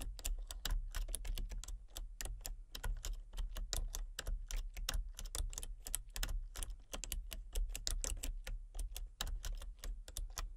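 Fingertips with long painted nails type rapidly on a full-size backlit plastic RGB computer keyboard with hollow key switches and colour-cycling lights. The result is a steady stream of short, sharp, bright key clicks that stop almost instantly, over a constant low hum.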